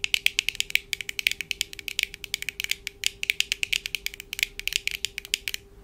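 Long painted acrylic nails on both hands tap quickly on the lenses and frames of black plastic-framed eyeglasses worn on the face. About 43 sharp, bright, high-pitched clicks follow in rapid, uneven succession, each dying away almost instantly, over a faint steady low tone.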